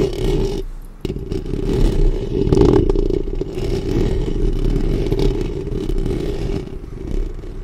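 Long nails on both hands scratch the hollow metal mesh grille of a black studio microphone. The result is a dense, irregular, continuous scratching and rustling that sounds heavy and boomy, with most of its energy low and a steady hum-like band around 300–400 Hz. The loudness rises and dips only slightly throughout.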